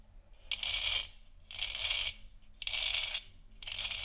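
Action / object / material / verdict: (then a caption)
scrape / textured plastic lamp sphere / plastic / none. Long nails scratch and tap across the textured surface of a large hollow plastic moon lamp sphere. Four bright, hissing scratch strokes of about half a second each repeat at a steady pace, centred around 3 kHz with a faint low hum beneath.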